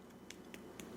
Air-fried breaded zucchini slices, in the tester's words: You can hear that, how crispy they are. The breading's not falling off.